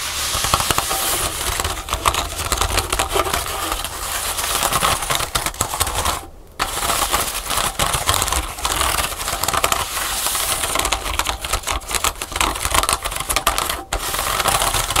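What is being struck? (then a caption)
Pleated paper folding fan. Several fingernails rapidly tap and scratch the pleats of a pleated paper folding fan that lies half-folded on a table. The result is a dense, continuous stream of dry, crisp clicks and papery scratches, much like fast typing, with a brief pause just after six seconds and another near fourteen.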